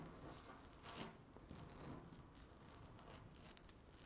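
Long natural nails scratch and tap across a flat, solid speckled laminate tabletop. A quiet, steady dry rasping runs throughout, broken by a few brief, sharp clicks with bright edges.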